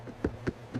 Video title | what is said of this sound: I Make Garlic Bread at Home Every Day! No Oven, No Knead! Homemade bread recipe #garlicbread | Tap the top when it sounds hollow. It's done. This one is absolutely done.